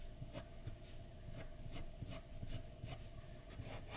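A pencil tip makes rubbing and scratching strokes on a flat white paper drawing sheet resting on a dark desk. Soft, steady scraping comes in repeated short bursts, each stroke adding a bright hiss over a low, grainy rumble.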